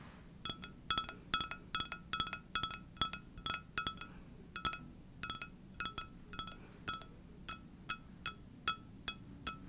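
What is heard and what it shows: An empty white ceramic coffee mug with a sunflower print is tapped and scratched close up with long dark-painted nails. Bright, high-pitched clinks come in quick, irregular bursts, each ringing only briefly, with faint scratching between the taps.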